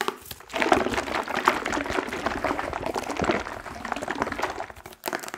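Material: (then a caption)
Steel. An unopened steel tin can of coconut milk with a paper label, full of liquid, is held in the hand while fingernails rapidly tap and scratch it. The can is also shaken so the liquid sloshes inside. The result is a dense, fast stream of crisp, crinkly clicks and scrapes with a metallic midrange ring and very little low end, dropping briefly near the end.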